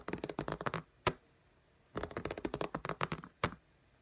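Long nails tap the glass screen of an iPad in a pink case in fast, typing-like taps. Two quick bursts of short, dry clicks are each followed by a single sharper tap, with a quiet pause between them.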